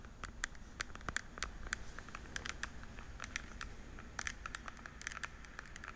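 Long nails and fingertips quickly tap the day-lettered lids of a small, hollow, translucent blue plastic weekly pill organizer. The result is a quiet, rapid, irregular patter of sharp, bright plastic clicks, each dying away almost instantly, over a soft low rumble.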